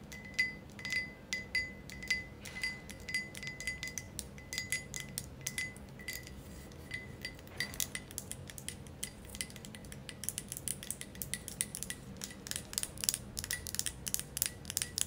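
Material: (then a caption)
Glass. Long nails tap and scratch an empty, thick green glass ashtray, making many quick, bright clicks and clinks. A faint ring sounds in the first half, and the tapping grows denser and sharper toward the end.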